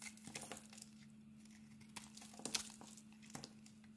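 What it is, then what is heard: Bar of soap being carved. A metal blade scrapes and carves curls off a solid bar of soap with a blue glitter coating and a cream-colored inside, held in the palm. Quiet, bright crinkly scraping is punctuated by sharper crackling snaps, with a faint steady low hum underneath.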